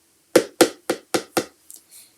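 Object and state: Hollow box.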